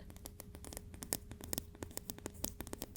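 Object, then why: Metal ruler. A metal ruler is tapped in a rapid series of light, sharp clicks that stop almost instantly with no ringing, over a faint steady low hum.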